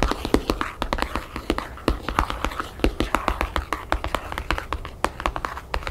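Long painted fingernails tap rapidly on the cover of a thick, solid hardcover album wrapped in map-printed paper as it rests on a table. Dozens of short, dry clicks follow one another in an uneven flurry, each dying away almost instantly over a soft low thump from the book.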